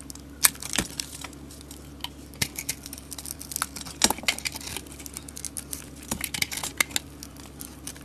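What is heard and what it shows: A solid, hand-sized bar of soap with a gold coating and glitter is held in the hand and shaved with a utility knife blade, peeling off curls of white soap. Dry, bright crackling and crisp scraping ticks come quickly one after another, each dying away almost at once, with a few sharper clicks standing out.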